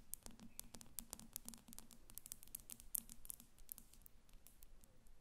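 Long acrylic nails on both hands tap quickly and irregularly against the sides of a glass perfume bottle standing on paper on a glass table. Each tap is a sharp, dry click with a bright top and almost no ring, over a low steady hum near 200 Hz. The tapping stays quiet and busy throughout, with a few louder clicks standing out.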